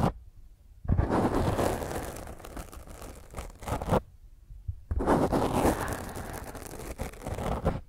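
Long fingernails scratch and tap a black foam microphone windscreen, producing close, rough, broadband rustling with a deep low thump. The scratching comes in two dense bursts, from about 1 to 4 seconds and again from about 5 seconds to the end, with a quiet pause between them.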